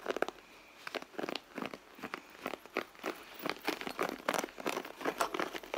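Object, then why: Soft leather handbag. Long blue nails scratch and tap across a hollow red soft-leather handbag, producing a rapid, uneven series of dry crinkly scrapes and soft taps. Each burst is short and dies almost instantly, with its body around the mid range and a bright, papery edge on top. There is almost no low end.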